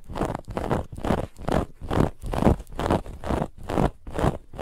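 Both hands scratch with their nails along a raised brown-and-white woven lattice fabric band on a soft white cushion. The result is a steady series of rough, rasping strokes, a little over two per second. The sound is dull and low-weighted, with almost no bright edge.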